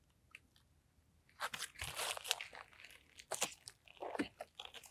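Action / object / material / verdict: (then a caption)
scrape / butter slime / slime / none. Mint green butter slime is stretched out, then held and squeezed in both hands. After a quiet start, dense bursts of bright, crackly crunching and sharp popping clicks set in and continue to the end.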